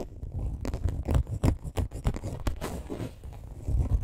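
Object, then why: Coated canvas handbag. Long green acrylic nails scratch and tap the printed front panel of a small, hollow rainbow-monogram coated canvas crossbody bag with leather trim lying on pink fur. The result is a quiet, dry, fast patter of scraping strokes and short ticking taps with a soft, hollow low thud beneath and brief bright clicking edges.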